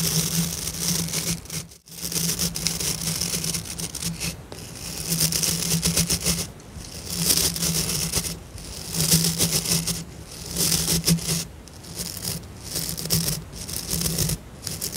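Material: Plastic.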